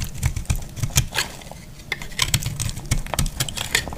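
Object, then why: Bar of soap cut with a blade. A hand-held piece of dry, solid pink and green marbled soap is cut with a metal utility blade. It gives a rapid series of crisp, bright crackling snaps and scrapes over soft low thuds, each very short and dry with almost no ring.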